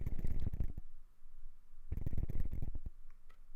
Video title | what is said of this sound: Brand new Rode VideoMic NTG rattles during recording :( | it's a bit of a rattling with the mic